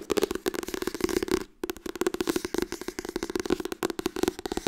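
Fast tapping on the softcover book "Harry Potter en de steen der wijzen" makes a rapid run of dry, short taps, about two dozen in all, with a brief pause just past the first second and a half. Each tap dies almost instantly and carries a soft papery knock around 350 Hz with faint bright crackle on top.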